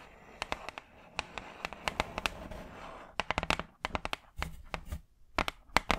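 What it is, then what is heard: Hardboard clipboard tapped with nails. Long acrylic nails tap fast on a large, flat brown hardboard clipboard, a solid thin board held in front of the mic. Sharp, dry clicks land in quick, uneven bursts, bright and very short, with a soft scratchy rustle between them.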